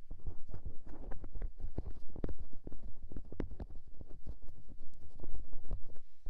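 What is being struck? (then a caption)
Soft silicone microphone ear. A fingertip with a dark painted nail rubs and presses directly on the small, soft white silicone ear mounted on the side of a white SR3D binaural microphone box, close-up. The result is a dense run of muffled, low, rumbling thumps and crackly scrapes, with frequent soft, sharp bumps throughout and almost nothing in the bright range.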